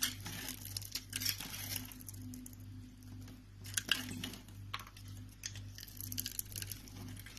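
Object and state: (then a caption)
Soap bar being cut and scraped. A utility knife blade cuts and scrapes pieces off a solid green rectangular soap bar, hand-sized and pre-scored with lines, held in the palm. The clip is full of quiet, crisp, bright scraping and crumbly cuts with a few sharper clicks, over a steady low hum.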